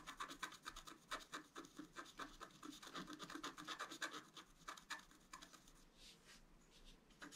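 A wooden stylus scratches flower details into a flat black-coated scratch art paper sheet lying on a table. It makes a quick, irregular series of short, dry, bright scratching strokes, each ending abruptly. The strokes turn softer and more rubbing near the end before a few sharper scratches return.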